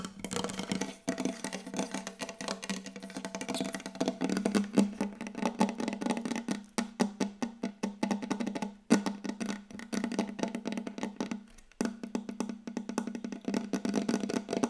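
Fast tapping with long yellow acrylic nail tips from both hands on a large, solid, glossy wooden tabletop, close up. The taps come in a rapid, dense stream of short, dry clicks over a steady woody tone near 200 Hz. There are brief pauses around 1, 9 and 12 seconds.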